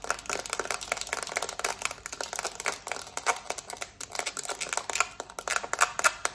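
Long nails tap and scratch quickly on a small, hollow black plastic TV remote, first across its smooth plastic back and then over the button side. Dense, dry clicks and scratchy rasps come in rapid bursts, bright and thin with almost no low end, and each tap dies away almost at once.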